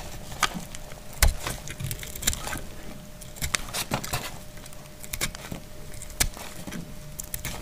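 A small, solid, dried brown soap bar is held in the hand and cut with a metal utility blade, shaving off hard slices. Each stroke gives a sharp, dry crack or snap with a brittle, splintering, woody crunch and bright high edges, fading almost instantly. The cuts come in an irregular series over a faint low background hum.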